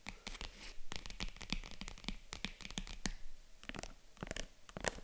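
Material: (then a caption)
Faux leather. Long acrylic nails scratch and tap the padded lid of a small, hollow, white faux-leather zippered jewelry box. Quick, soft clicks with bright scratchy edges are mixed with dull thumps and brief rustling scrapes. Each sound dies away almost instantly.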